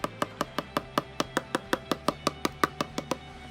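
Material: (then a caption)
Glass. A fingernail taps the glass panel of an HP Envy laptop 18 times at a steady pace. Each tap is a short, dry click with a faint hollow tone around 1.2 kHz and almost no ring. The glass sounds oddly like plastic.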